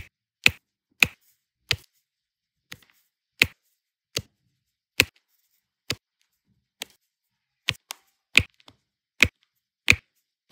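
A pink plastic multi-placer tool repeatedly taps and presses rows of small solid turquoise resin diamond-painting drills down onto a flat adhesive canvas. Fourteen short, dry, bright clicks are separated by brief silences, each dying away almost instantly with little low end.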